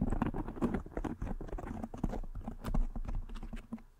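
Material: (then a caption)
Foam. Fingernails scratch and tap on a soft black foam windscreen covering a microphone head. The result is a dense run of quick, muffled taps and rustling scratches, heavy in low thuds with almost no bright content. The level swells and fades unevenly, trailing off toward the end.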